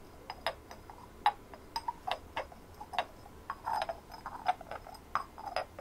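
Long fingernails tap rapidly across a hand-sized white ceramic ornament with a rough textured surface and glazed blue decorations. The result is a quiet, irregular run of short, dry clicks with a hard ceramic tone around 830 Hz, each dying away almost instantly, with a few brief bursts of quick taps.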